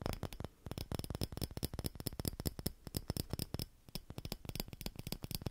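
A small hollow clear glass Christmas bauble with a metal cap and green ribbon is held in both hands and tapped and scratched with fingertips and nails. About thirty quick, dry, clicky taps come in a rapid run, with bright edges and a soft low thump. There are brief pauses near the start and just before the four-second mark, and each tap dies away almost at once.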